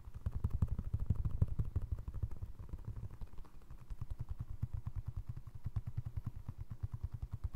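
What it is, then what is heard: Foam resin clog. A single navy blue foam resin Crocs clog with holes is held up and tapped with fingertips and short nails on its side and toe. The result is a rapid, uneven stream of soft, dull, low thumps with a faint clicky edge, louder in the first two seconds and then steady and lighter.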